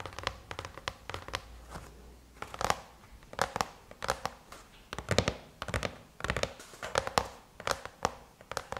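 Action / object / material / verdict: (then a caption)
tap / aluminum laptop lid / aluminum / none. Long chrome-painted nails tap rapidly on the closed lid of a silver aluminum MacBook. Quick bursts of sharp, bright clicks with almost no ring alternate with brief pauses, over a faint low background hum.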